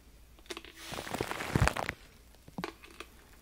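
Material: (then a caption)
Aluminum foil. Fingertips rub and crinkle aluminum foil wrapped around a microphone. A few light crackles give way to a dense, rising stretch of crunchy crinkling with a deep, boomy undertone. It then settles back into scattered soft crackles.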